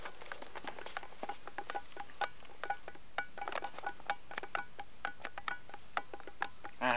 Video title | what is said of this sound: SITUS GUNUNG PADANG CIANJUR - Jalan Jalan bareng anak TRIPOT Tahun 2014 | Bisa bunyi, bunyinya beda-beda dari ujung ke ujung beda.